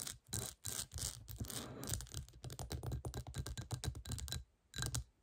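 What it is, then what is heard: Textured glass bowl scratched with nails. Long nails quickly scratch and tap the bumpy surface of a clear, hollow, textured glass bowl turned upside down. Bursts of bright, gritty scraping mix with rapid clicky taps over a low rumble. A short pause comes near the end before one last burst.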